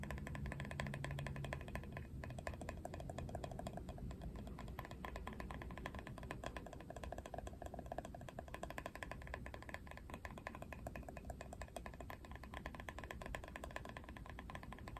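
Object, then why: Plastic hairbrush back. Fingernails rapidly tap and scratch across the hard printed plastic back of a Barbie plastic paddle hairbrush. The result is a dense, steady run of quick, dry clicks and scrapes over a low, rumbling background that fills the whole clip.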